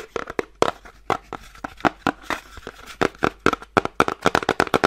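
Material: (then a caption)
Cardboard. Painted nails tap rapidly and repeatedly on the top face of a small, flat, elongated, hollow kraft cardboard box held horizontally. About two dozen short, dry clicks with a hollow, papery tone around 1.3 kHz land in an irregular, quickening rhythm, each dying away almost instantly.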